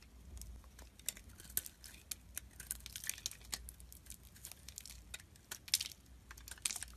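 A solid white bar of soap, held in the fingers, is carved and chipped with a metal blade, leaving a pile of soap chunks nearby. A quiet, rapid series of crisp, bright scraping and cracking clicks sounds as the blade cuts, each dying away almost instantly over a faint low hum.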